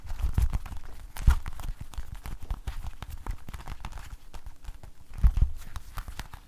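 An empty, hollow blue rubber household glove is held up in bare fingers and shaken, squeezed and rubbed against itself. This makes a dense run of soft, dull thumps and rubbery rustles, with nearly all the energy low and little ring. Stronger bursts come near the start and again toward the end.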